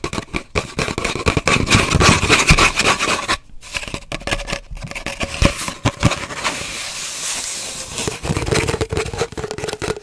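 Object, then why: Cardboard paper towel roll. Long nails tap and scratch an empty, hollow cardboard paper towel roll, first standing upright and then lying horizontal. Rapid, irregular dry taps mix with bright, rasping scratches that have a slight hollow resonance, with a brief quieter stretch partway through before the busy scratching resumes.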